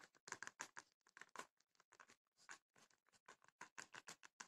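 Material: Wood, rattan.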